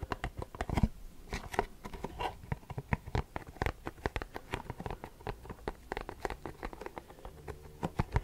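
A printed Versace perfume cardboard box is held up and tapped with short fingernails. It gives a rapid, uneven run of dry, short clicks and taps with a hollow low thud and almost no ring.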